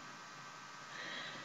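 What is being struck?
Nothing is struck.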